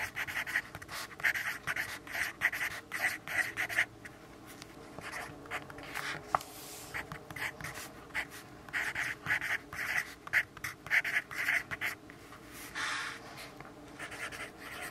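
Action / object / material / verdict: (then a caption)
scrape / graphite pencil on paper notepad / paper / none. A yellow graphite pencil writes on a lined paper notepad resting on a wooden desk, making quick, dry scratching strokes. The strokes come in rapid bursts of bright, papery friction centered around 2 kHz, with short quieter pauses between runs of writing.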